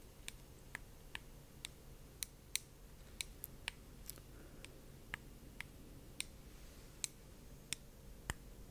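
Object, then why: Small solid glass orb. A small, solid, palm-sized glass orb lit in blue, held in one hand on a small stand near the microphone, is tapped repeatedly with the tip of a thin dark-red stick, like a brush or chopstick. About 17 short, sharp, bright ticks sound at uneven intervals, each stopping almost instantly with no ring, over a quiet low hum.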